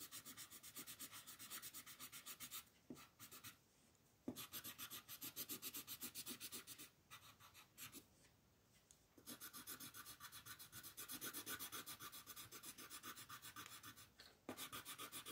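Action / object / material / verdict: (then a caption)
scrape / colored pencil on a paper sheet / paper / none. An orange colored pencil scratches a flat white paper mandala sheet with quick, short strokes along its border. The result is a steady, bright, dry scratching rhythm in several bursts, broken by brief pauses.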